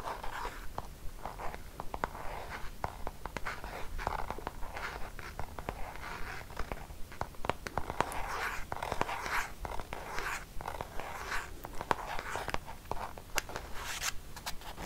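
A hollow, squeezable white plastic cosmetic cream tube, likely partly filled, is held up in one hand and scratched with long painted fingernails. The result is a steady, irregular run of dry scratching strokes with a hissy midrange around 1 kHz, broken by sharp, quick-fading ticks and clicks over a faint low rumble.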